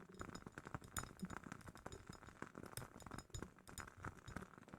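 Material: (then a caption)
Glass. A glass candle jar from a woodwick candle is tapped in quick succession, making a run of quiet, clinking glass taps. Each tap is short and dies away almost at once, with a light ringing tone around 1.4 kHz over a dull low knock.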